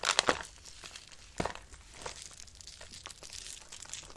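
A hand with long pink nails crushes and crumbles handfuls of dry, brittle pale green soap shavings between fingers and palms over a red-lined box. Sharp, bright crunches come at the start, with another loud burst around 1.4 s. A dry, crinkly crackle then continues at a softer level with almost no low end.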